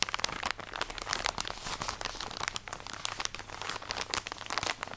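Long nails scratch and squeeze a full plastic drawstring package of cotton pads, producing a steady stream of sharp, bright crinkling and crackling. The rustle stays dense and dry throughout, with almost no low end.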